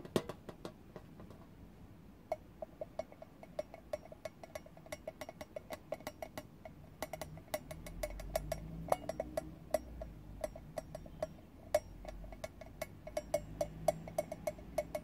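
Fingertips and nails tap and scratch the shiny lid of a small, round, hinged metal tin that is closed and likely empty. The result is an irregular run of short, bright clicks with a faint metallic ping near 640 Hz that dies away almost instantly, over a soft scratchy hiss. A low rumble swells in the middle of the clip.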